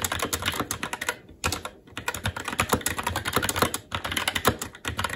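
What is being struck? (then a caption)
Plastic-keycap mechanical keyboard on a metal plate. Fast, continuous two-handed fingertip typing on a SteelSeries Apex 7 TKL mechanical keyboard with plastic keycaps on a metal top plate and Red linear switches. Crisp, bright, clacky keystrokes with a light low thump run in quick bursts, with a brief pause just after the first second.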